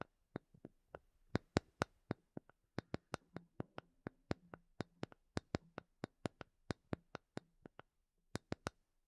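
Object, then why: Small wooden block. A small, solid, light wooden block held in both hands is tapped with long painted nails, giving 32 sharp, dry clicks that stop almost instantly. The taps come in an uneven rhythm, with a faint low hum under the middle of the run and a short pause before the last few taps.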